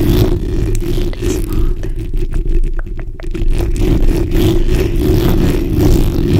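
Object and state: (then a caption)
Metal mesh microphone grille scratched with nails. The backs of long nails on both hands scratch across a black hollow metal mesh microphone grille. The result is a dense, continuous rasping scrape with a heavy low rumble, faint ticking clicks scattered through it, and almost no bright high end.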